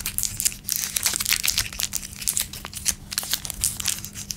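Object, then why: Small plastic-film candy wrapper. A small blue raspberry Laffy Taffy wrapper made of plastic film, with the taffy still inside, is held between the fingertips and thumbs of both hands over a wooden table. It is crinkled and twisted while being torn open. The result is a dense run of bright, crackly crinkles and short tearing sounds with almost no low end, plus a faint steady hum underneath.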